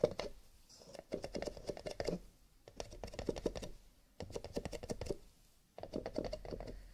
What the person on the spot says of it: Tapping on cardboard / paper cups, with a little bit of scratching